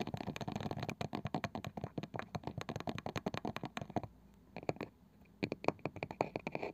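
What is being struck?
Small round wooden box with woven side.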